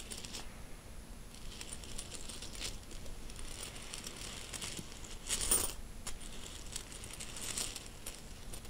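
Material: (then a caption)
Metal. A pile of mixed solid metal coins resting on a bedsheet is stirred, slid and pushed around by fingertips and an open hand. The result is a steady, soft metallic jingling and clinking with bright, high shimmer, plus a louder rustling swell near the middle of the clip.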